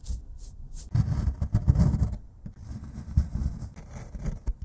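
A solid plaster excavation block is scraped with a metal pick, brushed with a paintbrush, then scraped again. Soft, bright swishes give way to dense, gritty low scraping with sharp scratchy bursts, briefly pausing before the rough scraping resumes.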